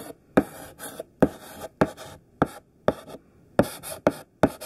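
A large, solid stick of thick pink sidewalk chalk writes words on a black chalkboard in rough, scratchy strokes. About a dozen sharp scraping strokes each start with a bright attack and trail off quickly into a gritty rasp, separated by brief quiet gaps.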